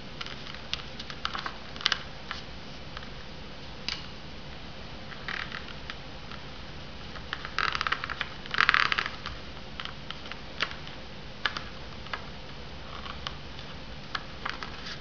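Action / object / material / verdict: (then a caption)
tap / polystyrene foam noodle cup with paper-foil lid / polystyrene foam / none. Long painted fingernails tap on the paper-foil lid and upper rim of a sealed Maruchan Instant Lunch polystyrene foam cup, hollow and holding dry noodles, standing on a wooden coaster. Scattered short, bright clicks with quick rattling flurries near the middle sit over a steady low hum.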